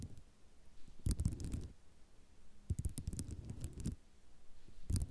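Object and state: Ceramic mosaic tile sheet.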